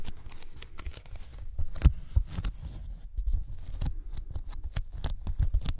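Fingertips of both hands tap the edge of a thin white closed-cell polyethylene foam sheet held above the microphones. The result is a quick, irregular patter of soft, dull low thumps with faint sticky, crinkly clicks on top, each tap very short and dry.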